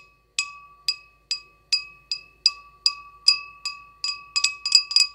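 Long acrylic nails tap an empty, small, clear glass goblet with a short stem, hollow inside, about fifteen times, speeding up toward the end. Each tap gives a bright, glassy ping with a ringing tone near 1.1 kHz and higher overtones that fade quickly.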